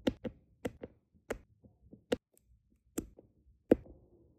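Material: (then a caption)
Resin. A plastic drill pen with a metal tip taps small solid round resin diamond painting drills into place on a flat adhesive canvas. Eight sharp, dry clicks stand out, with fainter ticks between them and almost no ring after each. The taps have a light, bright, woody character.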